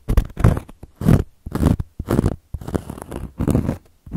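Long gold metal claw nails scratch across a round, flat, solid cork coaster board in a series of uneven strokes. The scratching makes a dry, rough, low rasp with soft bursts that rise and fade between short pauses.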